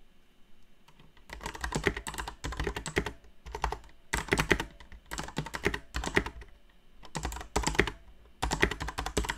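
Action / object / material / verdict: tap / plastic mechanical keyboard / plastic / none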